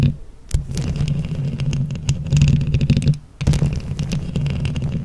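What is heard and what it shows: Long nails quickly tap and scratch a microphone grille covered in plastic flower rhinestones, giving a dense, low, rumbling crackle with many sharp clicks. The sound drops out briefly near the start and again around three seconds before the scratching resumes.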